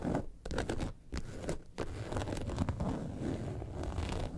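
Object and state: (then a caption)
Faux leather bag. Long nails scratch the top and sides of a yellow and white faux leather bag lying on a table. The result is a dry, irregular scratching with a soft, low-heavy rasp, broken by a few brief pauses early on before it settles into steadier rubbing.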